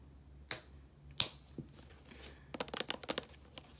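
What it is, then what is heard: Small plastic shampoo bottle. Long painted nails tap and scratch a small, hollow white plastic Head & Shoulders shampoo bottle with a blue cap. Two sharp, bright clicks ring out, followed by a softer tap and then a quick run of light, crisp scratching clicks. The sound is quiet and dry, sitting almost entirely in the high range with no lingering ring.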